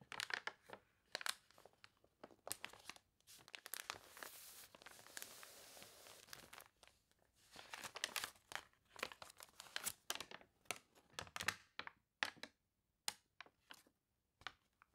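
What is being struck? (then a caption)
Thick glossy paper catalog. A thick, glossy paper toy catalog, wavy from being sprayed with water, lies open on a table while long dark nails scratch and rub its pages and a hand turns them. Bright, crunchy crinkles and sharp ticks come in quick bursts, with a longer sustained rustle in the middle as a page is turned, and the sound is dry with almost no low end.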